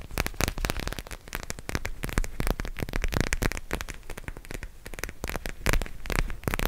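A purple gel-bead plastic eye mask is rubbed and scratched with the fingers close to the microphone. A dense, continuous crackling and scratching runs throughout, made of rapid broadband bursts over a heavy low-end rumble.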